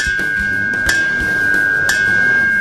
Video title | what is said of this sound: Catalisador automotivo cap 2 | eu estou aqui com um catalisador oco, sem núcleo cerâmico, e o som que ele faz. É o som de sino reverberando,